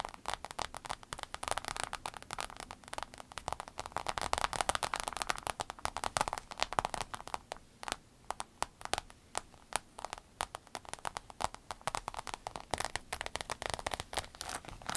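Long nails tap and scratch the vinyl panel of a rainbow holographic vinyl fanny pack, which is turned to its zipper side by the end. The result is a dense, crackly stream of quick dry clicks and scrapes, centered in the midrange with a bright edge. Faint soft swells rise and fall behind it.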